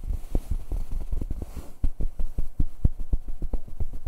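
Fingertips and hands rub and scratch the surface of a soft, padded grey fabric comforter cover right in front of the recorder. The result is a quick, uneven run of muffled, low thumps and brushing bursts, almost all deep bass with no bright hiss.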